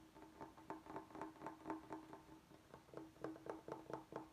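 Fingernails tap and scratch the edges and face of a large solid bamboo cutting board with a groove. About fifteen quiet, short taps come at a steady pace, each giving a dry, hollow knock with a brief woody tone around 320 Hz. The taps are separated by faint scratching.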